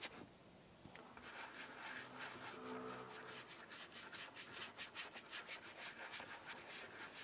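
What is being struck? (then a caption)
Leather shoe with wax and brush. Wax is rubbed into the toe and side of a brown AURORA SHOE&CO Middle English leather shoe with a rubber sole using a wooden dauber brush. A soft, airy rubbing hiss gives way to quick, bright back-and-forth brushing strokes in a loose rhythm, all at a quiet level.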